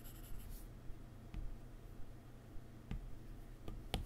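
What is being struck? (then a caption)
Glass tablet touchscreen with plastic-tipped stylus. A plastic-tipped stylus held in the fingers draws soft scratching, rubbing strokes across the glass touchscreen of an iPad lying flat on a keyboard. Four light, bright taps on the glass punctuate the quiet strokes over a low, steady background hum.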